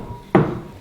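A single knock on a car's rear and roof steel body panel that has been covered with sound-deadening mat. It gives a dull, low thud with little high-frequency ring that dies away quickly, showing the treated panel is well damped.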